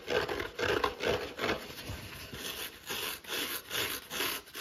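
Fingertips and short nails scratch a dry, palm-sized yellow foam kitchen sponge held in one hand, first across its green fibrous scouring pad and then across the yellow foam side. The result is a quick run of dry, raspy rubbing strokes, bright and hissy with little low end, repeating at an uneven pace of a bit over two strokes per second.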